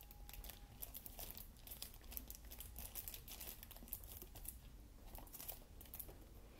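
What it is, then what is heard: Shrink-wrapped plastic game case. An Xbox One game case for Star Wars Battlefront, hollow hard plastic still in its cellophane shrink-wrap, is held in both hands while fingertips and short nails tap and scratch the wrapped cover. The film gives off a steady run of quick, crisp crinkles and bright scratchy ticks over a low background rumble.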